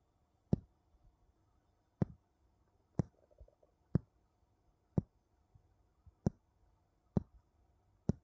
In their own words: 00:00 Tapping two wooden bowl together